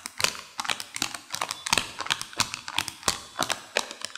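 A small, yellow, printed plastic bag full of peanut M&M candies is held above a white saucer and squeezed and crinkled with long fingernails and fingertips, shaking the candies inside. The result is an irregular series of sharp, bright crinkles and quick taps with almost no low end, each snapping off quickly.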